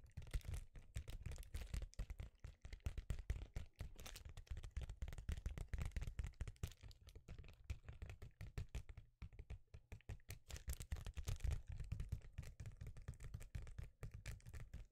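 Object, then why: Foil-faced bubble insulation sheet. A rectangular sheet of reflective foil bubble insulation is held in front of the mic and tapped rapidly with the fingertips. The result is a steady stream of soft, dull, low thuds with a faint crinkly edge, each dying out almost instantly.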